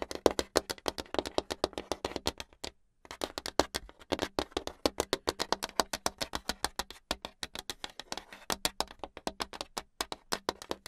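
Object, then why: Hardboard clipboard. Long acrylic nails tap fast on a flat, solid brown hardboard clipboard with some paper near its edge. Dozens of sharp, dry, bright clicks come in a rapid stream, each dying out almost instantly. There is a brief pause just before the 3-second mark before the tapping resumes.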